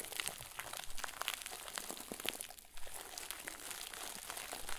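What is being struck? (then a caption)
Stuffed plastic bag ball. A round white plastic bag, tied at the top and stuffed full into a crinkle ball, is squeezed and crumpled by the fingers and thumbs of both hands over a wooden table. Dense, bright crinkling and sharp crackles run continuously, easing briefly in the middle before picking up again.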